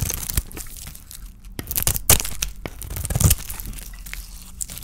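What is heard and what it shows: A small metal blade scrapes curls off a solid oval bar of dry white soap with a shiny red painted shell, held in the hand. Dry, crunchy scraping and crinkling strokes are broken by sharp crackling snaps, the loudest around the middle of the clip. The sound is mostly low and thuddy, with bright, gritty edges on each cut.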